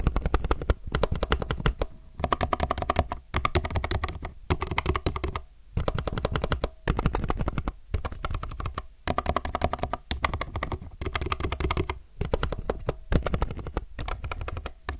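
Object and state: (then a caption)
Mechanical keyboard with plastic keycaps. Rapid two-handed fingertip typing on a low-profile mechanical keyboard with plastic keycaps produces dense bursts of short, crisp key clicks. The clicks have a strong low thump and a slight tonal ring. Brief pauses separate runs of fast keystrokes.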